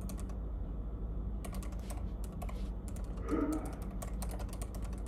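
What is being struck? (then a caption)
Plastic laptop keyboard keys. Fingertips type steadily on the plastic keys of a silver laptop, producing clusters of quick, bright clicks with a short pause near the start. A steady low hum sits underneath the tapping throughout.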